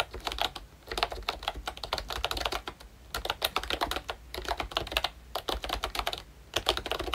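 Fingertips type in quick bursts on a full-size ROYCHE Disney Mickey Mouse retro plastic membrane keyboard with round plastic keycaps and a hollow plastic body. Each press makes a short, bright clack, and the keystrokes come in rapid runs with brief pauses between them.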